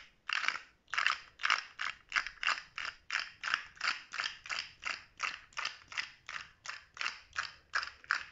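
A small rainbow-segmented plastic articulated slug fidget toy with a blue head and hollow segments is held in one hand while the fingertips of the other hand flick and click its segments. The result is a quick, uneven series of dry, bright ratcheting clicks with a short ring and almost no low end.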